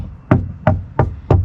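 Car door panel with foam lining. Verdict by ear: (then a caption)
Damped. Four dull, low knocks on the front door panel of a VW e-Golf, where self-adhesive foam sheets were added inside the door for noise reduction, test the damping. Each knock is a short thud centered low, around 125 Hz, that dies away almost at once with no ring. The damping sounds okay and not that bad, though it could be improved, since one side of the door could not be reached.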